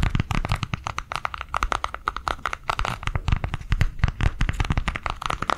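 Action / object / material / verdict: tap / plastic cardholder book tapped with fingernails / plastic / none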